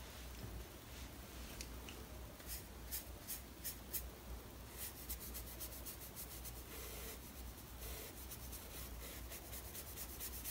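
A soft synthetic brush held in the fingers is rubbed and swept across the graphite of a pencil portrait on a large sheet of drawing paper in a spiral-bound Strathmore sketchbook, blending the shading. It makes quiet, dry papery brushing and scratchy strokes with bright hissy bursts over a steady low hum, blending the shading.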